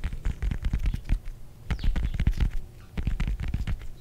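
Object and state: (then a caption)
Whole orange, scratched and tapped. Fingernails scratch and tap the textured peel of a whole fresh orange, palm-sized and solid, held in both hands. Soft, dull, low tapping and scratching patters come in quick, irregular bursts with faint bright clicky edges. The bursts are separated by brief quieter lulls.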